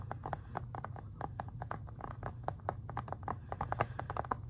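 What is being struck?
Plastic video game case.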